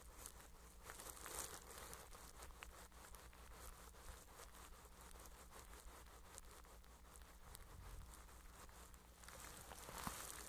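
A flat makeup brush sweeps over plastic cling wrap stretched across a microphone head held in one hand. It makes a continuous soft crinkling and rustling over a steady low hum, swelling brighter and louder around the start and again near the end.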